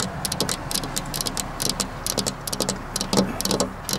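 Long black-polished nails tap rapidly and unevenly on a flat glass window pane with a metal rail. Each tap is a short, bright click that dies away almost at once, over a steady low hum near 190 Hz.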